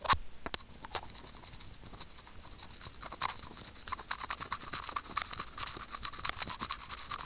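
Curved steel tweezers scratch a small, hollow white plastic earphone mic remote. The result is a steady run of quick, irregular, dry scratching strokes that sound bright and hissy, with almost no low end.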